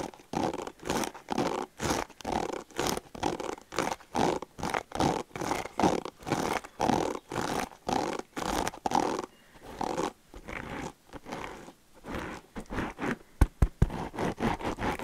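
Fingertips scratch and rub across the black plastic bristles of a pink hairbrush held close to the mic, making rhythmic, rapid zipper-like scraping strokes. For about ten seconds the strokes come as steady, even bursts. They then turn softer and more irregular, with a few sharp clicks near the end.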